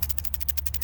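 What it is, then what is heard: Case holding loose drill bits. A small case holding several loose 1.75 mm metal drill bits, bought from Amazon, is shaken. The bits rattle inside in a quick run of about seven bright clicks over a steady low hum.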